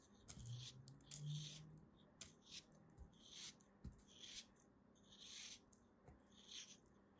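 A solid green chunk of kinetic sand, held between fingers with long dark nails, is sliced with a small black blade. A series of soft, crisp, gritty cuts gives bright hissing crunches over a quiet low hum. Each cut ends quickly with little ring.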